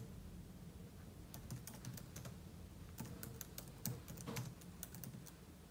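Fingertips type quickly on the plastic keys of a silver aluminium laptop keyboard, producing dense, irregular bursts of bright, short clicks. The taps sit over a steady low rumble and come in two busier clusters separated by a brief lull.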